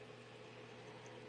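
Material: Nothing is struck.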